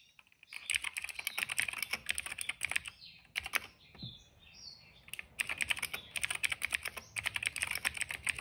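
Fingertips type steadily on a cream plastic mechanical keyboard with black, purple and yellow keycaps and a hollow case. Bright, crisp clacks come in quick bursts, with a couple of short pauses in the middle where the typing thins out before resuming at a steady pace.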